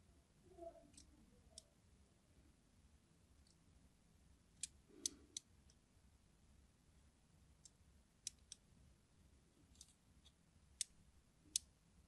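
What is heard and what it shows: A craft knife blade scratches and slices grooves along the surface of a solid green, translucent, hard glycerin soap bar held in the palm. About ten short, sharp, bright clicks and crisp scrapes ring out, separated by quiet gaps over a faint low hum.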